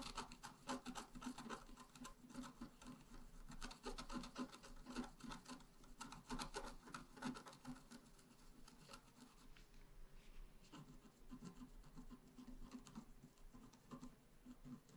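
A pointed wooden stylus scratches across a flat, black-coated scratch art card about A4 in size. Quiet, dry rasping strokes come in a quick, uneven rhythm, with a low body and faint bright grit. The scraping continues steadily throughout, each stroke fading almost instantly.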